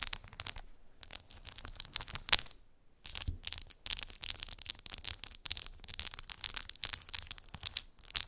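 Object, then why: Plastic phone case with resin decorations. Long pink nails scratch and tap across a clear plastic phone case decorated with resin gummy bears, lying on fluffy fabric. The sound is a dense, quiet run of bright, crackly scratches and sharp ticks with very little low end, pausing briefly near the three-second mark before continuing.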